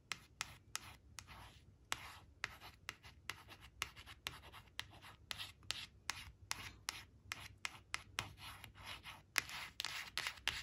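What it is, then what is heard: Glossy cardstock card being scratched. Long blue-painted nails trace and scratch over the orange crayon picture printed on a small, flat glossy cardstock flash card lying on a woven fabric placemat. Soft, bright rubbing and scratching strokes are broken up by many sharp, dry nail ticks that stop instantly. The sound stays quiet, with little low end.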